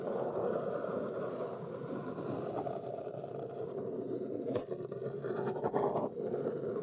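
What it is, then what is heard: Cardboard box. Long nails tap and scratch across the top of a large, flat, hollow brown Neewer cardboard box. The result is a steady, dense, papery scratching centered in the low midrange around 400 Hz, with little deep bass or high end. Occasional quick taps stand out briefly near the end.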